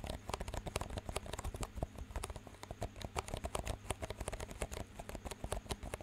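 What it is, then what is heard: Plastic cups. Fingertips tap two identical clear, disposable plastic cups with green rims, hollow and empty and held up in both hands, and the cups are knocked together. The result is a quick, steady run of short, dry, clicky taps with bright edges and almost no ring, over a constant low hum.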